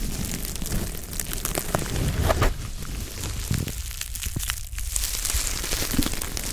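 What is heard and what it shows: A small pink-white soft foam sponge is held in both hands in front of a microphone and squeezed and rubbed with the fingertips. This produces a steady, dense crackling and crinkling rustle with soft squishy pops, over a low rumble and bright hiss. The sound swells briefly louder around the middle before settling back into continuous texture.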